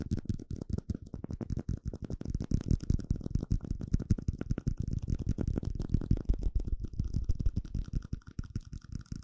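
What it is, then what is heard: Plastic cup tapped. A small, hollow, empty clear plastic cup is held upside down and tapped rapidly with fingertips and nails. The result is a dense stream of short, dull, low-pitched knocks that stop almost instantly, with faint brighter clicks from the nails.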